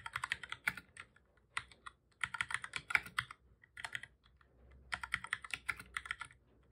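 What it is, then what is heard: Plastic computer keyboard being typed on. Fingertips of both hands type on a black full-size plastic computer keyboard, making repeated key presses. Quick, bright plastic clicks come in bursts of rapid taps separated by short pauses, each click dying away almost at once.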